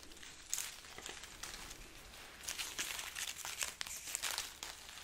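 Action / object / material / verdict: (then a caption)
scrape / strand of dried chili peppers / dried chili / none. A long strand of dry, papery, hollow red chili peppers tied on a string is held up and rubbed and scratched with long nails. The result is a bright, crisp crinkling and scratching, with quick crackly bursts over a soft hiss.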